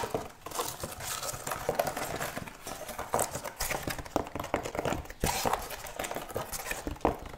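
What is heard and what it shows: A wooden object is tapped quickly, giving hollow, clip-clop knocks with short, dry decay. The taps come in an uneven, rapid stream with bright edges and a few louder accents.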